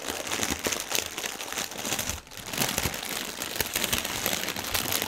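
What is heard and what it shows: Hands scrunch and twist a section of clear plastic air-pillow packaging film on a white table, producing dense, bright crinkling and crackling. The crinkles continue almost without a break, with a brief lull about two seconds in before the scrunching picks up again.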